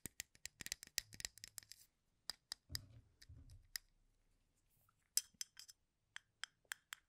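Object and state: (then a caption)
Wooden toothpicks in a plastic cup. Fingernails rake across the ends of wooden toothpicks packed in a full plastic cup held in one hand, giving a quiet, clicky scratching. Bright, sharp clicks come in a dense burst at first, then more sparsely, with a short low rustle in the middle and a brief pause before the final scattered clicks.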